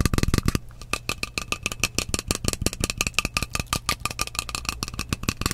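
Fingernails tap fast on the side of a partly filled frosted glass mist bottle with a metal cap. The quick, sharp clicks have a bright glassy ring. They begin with a louder burst, then settle into a steady rapid patter over a low hum.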